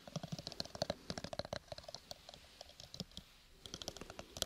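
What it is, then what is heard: Cardboard gift box tapped with fingernails. A small, hollow, square cardboard gift box covered in purple textured paper is tapped and scratched rapidly with fingernails close to the mic. The quick, dry clicks have a bright papery edge and die away almost instantly, and they come in dense bursts with a short lull near the three-second mark.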